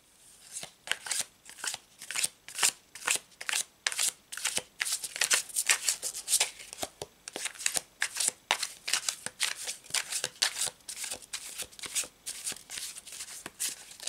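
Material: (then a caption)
Cardstock. A checkered-back cardstock paper tarot deck is held in both hands and shuffled by the fingers, with the cards riffled and bent. A steady, irregular run of short, crisp, bright papery bursts follows, with almost no low end and no ring after each snap.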